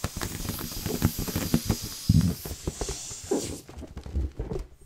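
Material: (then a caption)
Latex rubber. Fingertips rub and scratch the surface of a large, hollow, inflated blue latex balloon held in both hands around the microphone. This gives a dense run of scratchy rubbery squeaks and soft, low, drum-like thumps from the taut skin, with a faint bright hiss over the first half.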